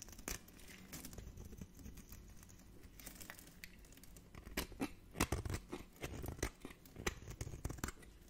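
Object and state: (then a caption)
Dry bar soap. A metal blade scrapes crunchy shavings off a solid, hand-held bar of dry orange soap. Dry, crackling scrapes and crinkles run throughout, with sharper, louder crunches and snaps in the second half.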